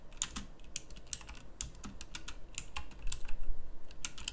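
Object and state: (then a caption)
Plastic mechanical keyboard. Fingertips with long nails type on a pink backlit plastic mechanical keyboard with round plastic keycaps. Its bright, sharp clicks come in an uneven run, short and dry, with a faint low hum beneath. The keystrokes grow louder toward the end.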